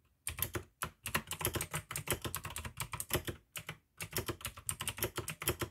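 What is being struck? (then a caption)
Mechanical keyboard with plastic keycaps. Fingertips of both hands type continuously on a full-size pink AUKEY mechanical keyboard with plastic keycaps and clicky blue switches. Rapid, bright clicks ride over a low thud from each keystroke, broken by a few short pauses. Each click dies away almost instantly.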